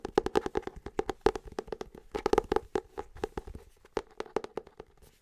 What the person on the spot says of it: we're going to have that little bit of more deeper wooden sounds, which sound a lot better with my nails on them